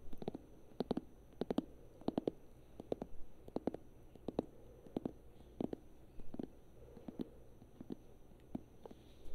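Long nails tap and scratch the glossy paper cover and page edges of a thick paperback book held in one hand. Quiet, short, dry taps come in quick pairs and small clusters, with soft low-mid body and faint scratchy rustling between them.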